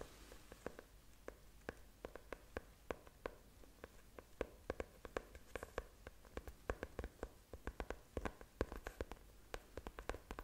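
Long nails tap and scratch the brown faux leather cover of a closed, solid, book-sized notebook that is held up. The result is a quiet, irregular stream of many short, dry clicks and soft thuds with a faint low body. Light scratchy rustling fills the gaps between them.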